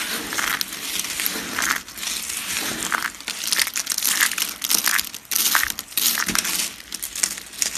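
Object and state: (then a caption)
Dry soap flakes being crushed. A pile of tan dry soap flakes, small thin solid pieces, is pressed and crushed with fingertips and palms on a cutting mat. The result is a dense, bright crackling crunch that runs almost continuously, swelling and easing with each press, with almost no low end.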